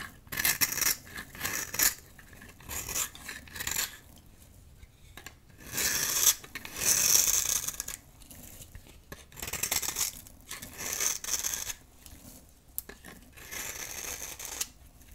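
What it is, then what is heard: Dry soap bar shaved with a knife. A metal knife blade scrapes and shaves a small, solid, rectangular bar of dry green soap held in the palm, peeling off soap curls and powder. The result is a series of bright, dry, raspy scraping strokes in bursts separated by short quiet pauses, with almost no low end.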